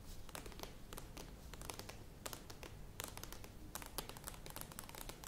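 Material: Plastic.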